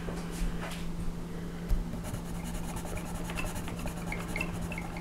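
A colored pencil shades the lower tail and legs area of a flat paper coloring page with continuous rubbing strokes. It makes a quiet, soft scratchy rasp with bright streaks over a steady low hum, broken by a couple of brief soft knocks. The strokes stay faint and even throughout.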